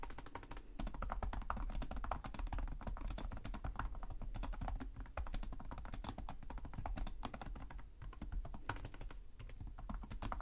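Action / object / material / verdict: tap / plastic laptop keyboard / plastic / none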